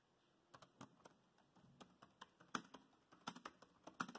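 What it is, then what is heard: Plastic laptop keyboard. Fingertips type steadily on a dark grey plastic laptop keyboard, producing quiet, short, crisp key taps at an uneven pace. Each tap has a light low-mid body and a bright click that dies away almost instantly, with a few louder taps standing out among softer ones.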